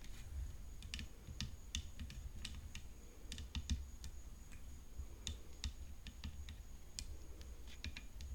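Long fingernails tap continuously on the frame of a tennis racket, producing quick, crisp, clicky ticks with very short decay. The taps sit over a constant low rumble, and a faint, steady high tone runs throughout.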